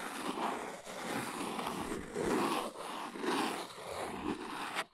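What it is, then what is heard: Cardboard box. Long pink almond-shaped nails tap and scratch the sides of a small, hollow, brown printed Arteza carving-blocks cardboard box held in the hands. The result is a continuous, dry, papery scratching hiss with bright upper content and soft hollow knocks, swelling and fading in loose strokes about once per second.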